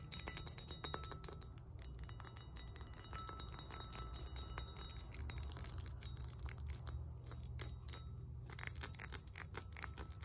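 Long nails tap and scratch the embossed flat face and the handle of a solid 20 lb cast iron kettlebell resting on a lap. Rapid, bright, clicky taps with very short ring mix with dry scratching over a steady low rumble.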